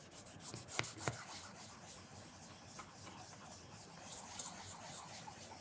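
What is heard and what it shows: A black leather loafer is held by the heel while a cloth wrapped around the fingers rubs and polishes the leather toe to a mirror shine. The result is a quiet, steady, bright swishing rub with two sharper ticks early on.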